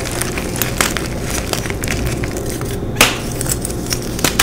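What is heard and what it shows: Hands with long pink nails crush and squeeze solid white gym chalk blocks (magnesium carbonate), crumbling them into chunks and powder. A steady dry crunching and crackling runs throughout, with irregular bright snaps and a louder crack near the three-second mark over a low, grainy rumble.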